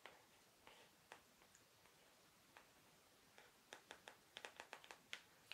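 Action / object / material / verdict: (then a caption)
tap / cardboard box tapped with fingernails / cardboard / none. Long acrylic nails from both hands tap and drum on the lid of a closed, medium-sized, rectangular pink cardboard jewellery mailer box resting on a mirror tray. Seventeen short, bright clicks are heard with almost no low end, each dying away almost instantly. The taps are sparse at first, then come in a quicker cluster toward the end.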